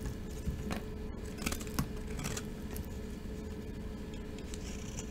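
A solid, cream-colored rectangular bar of dry glitter soap, resting in a hand, is scraped and cut with a metal utility blade. Soft, crumbly scraping and brief crackling ticks sound over a low, steady rumble as shavings drop onto a pile of flakes.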